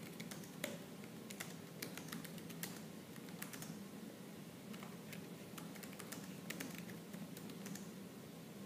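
Fingertips and nails type fast and aggressively on a laptop keyboard with black plastic keys. Quick, sharp, bright clicks rise over a steady low hum at a quiet level.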